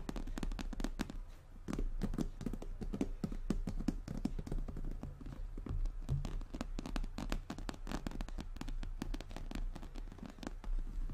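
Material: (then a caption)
Faux leather. Long natural nails on both hands tap rapidly over a medium-size, brown, glossy croc-embossed leather handbag, a hollow structured bag resting on a table. The taps come in a dense, continuous stream of short, dry clicks, each with a bright edge over a hollow, low-heavy thud, and they fade quickly.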